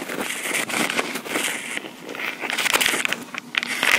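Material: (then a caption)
Plastic. Long pink acrylic nails scratch and tap on a small black plastic Tascam portable recorder, near its metal mic grilles. The result is a steady, bright, crackly scratching laced with short, sharp taps that have almost no low end.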